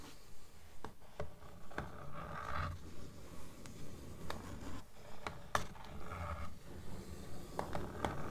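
Long nails scratch and tap the cover of a blue paperback book lying flat on a table. Soft, low rubbing scrapes alternate with sharp clicking taps in a steady, repeating rhythm.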